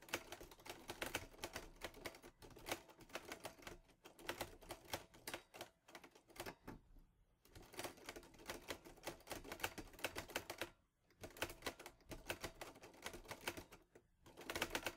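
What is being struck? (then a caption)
Metal manual typewriter. A green metal Underwood Olivetti Lettera 22 portable manual typewriter, loaded with paper, is typed on steadily with the fingertips. It produces dense, bright mechanical clacks in quick bursts, with brief pauses near the middle and toward the end.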